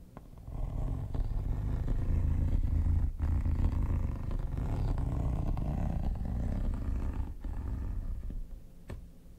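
Metal tweezers scratch the textured top of a hollow, mint-green quilted hard plastic vanity case. The sound is a dense, low rumbling scrape with a purr-like texture and a few faint ticks, almost all its energy deep in the bass. It rises quickly, holds steady, then tapers off near the end.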